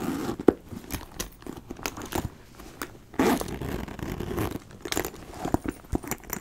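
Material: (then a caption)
Leather. A hollow brown leather backpack is handled up close, with repeated zipper pulls and fingernails scratching across the leather. Small metal rings on the bag jingle and clink between the rasping strokes, giving a stream of short, sharp crackles and scrapes. A louder, sustained zipping run stands out near the middle.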